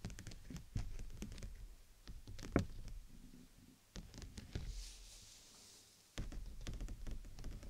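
Fingers and nails tap the sides of the outer canopy of a clear PVC dome umbrella held over the mic. Quick, soft, low thuddy taps come in dense pattering bursts, with quieter, sparser stretches between them and a faint high hiss in one lull.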